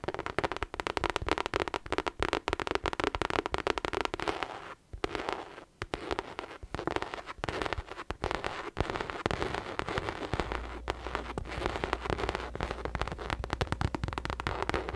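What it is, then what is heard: Faux leather bucket bag. Long acrylic nails tap and scratch a hollow pink faux leather drawstring bucket bag, giving a dense run of quick, dry clicks and crackly scratching with short pauses near the five-second mark. A steady low hum joins underneath from about ten seconds on.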